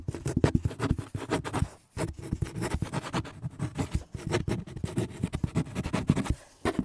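Fingertips and nails scratch and tap the flat side of a large, hollow, printed corrugated cardboard box resting on a metal shelf. The result is a dense, rapid run of dry scratches and soft taps with a low, hollow body and bright, papery edges. It pauses briefly near the two-second mark and again just before the end.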